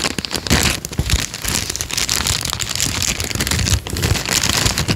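A thin peach paper sheet is folded, then unfolded and flattened, and crinkled with the fingertips of both hands. The result is a dense, steady crackling and crinkling with a bright hiss over soft low thumps, running without a break for the whole clip.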